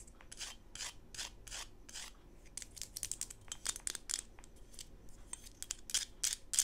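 A small solid PVC plastic Smurf figurine, held upside down and sideways, is scratched and rubbed with long pink acrylic nails, with glitter on the table. Quick, irregular bursts of dry, bright scratching and rasping come in rapid succession, each short with almost no ring. The overall level stays quiet.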